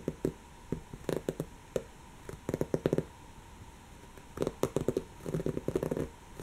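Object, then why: Woven fabric pillow. Long natural fingernails on one hand scratch a soft, stuffed, brown textured woven-fabric cushion. Quick, dry scratching strokes come in scattered flurries, with a muted, mid-low tone and very little ring. The clusters pause with near silence between them.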